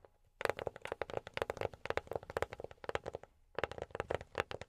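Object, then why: Box tapped with silicone rubber fingertip pads. A box is tapped with silicone rubber pads on the fingertips in quick, uneven runs of around thirty soft, dry taps, with a brief pause before the last flurry. Each tap is a muted, mid-pitched knock with a bright click on top that stops almost instantly.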